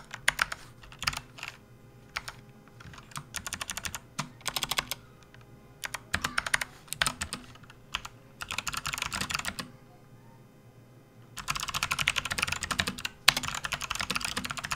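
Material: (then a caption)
Plastic. Fingertips of both hands type on a full-size plastic RGB backlit computer keyboard with hollow keys, resting on a desk mat. Short bursts of rapid, bright, clicky keystrokes alternate with brief pauses, then a quiet gap gives way to a dense, continuous run of typing through the end.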